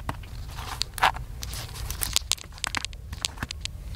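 Fingertips tap the top of a small black plastic handheld camcorder with a hollow body, held in one hand. Quick, dry, bright clicks and light crackly taps come in an uneven flurry over a steady low rumble, each dying away almost instantly.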